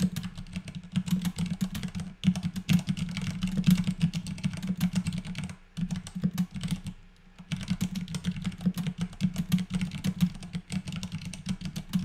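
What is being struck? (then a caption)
Mechanical keyboard with plastic keycaps. Both hands type steadily with their fingertips on a compact white mechanical keyboard with plastic keycaps sitting on a desk, doing a typing test. The dense, rapid keystroke clicks carry a low thocking body around 180–200 Hz with bright click transients, and there are brief pauses near 2, 5.7 and 7 seconds.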